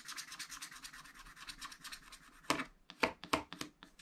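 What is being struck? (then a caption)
Wax-coated scratch-art paper scratched with a wooden stylus. A wooden stylus rubs and scratches fast back and forth across a spiral wax-coated scratch-art paper pad lying flat, clearing the black coating in the sky area. The first half is a dense, quick run of bright, papery scratching strokes. It gives way to a few louder, sharper scrapes separated by short pauses.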